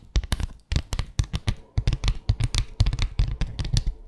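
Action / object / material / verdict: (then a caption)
tap / bamboo slat mat tapped with fingernails / bamboo / none. Long acrylic nails tap and scratch across the slats of a small flat bamboo slat mat, producing a quick, uneven run of about twenty sharp clicks with brief scraping between them. Each hit has a dull, low thump beneath a bright, clicky edge and dies away almost instantly.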